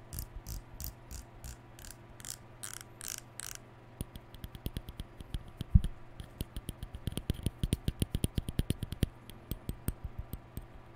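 Fingertips rub and scratch the white plastic bristles and lilac cap of a hollow plastic round hair brush held in the hand. For the first four seconds, slow, soft, bright scratchy strokes come at a steady pace. Then the sound turns into a quick run of dry, crisp ticks and plucks over a faint low hum.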